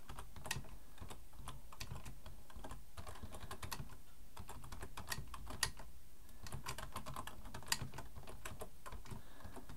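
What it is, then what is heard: Plastic computer keyboard. Both hands type with their fingertips on a black plastic full-size Logitech keyboard resting on a wooden desk. It produces a steady stream of quick, crisp key clicks over a low rumble, with a few sharper taps standing out.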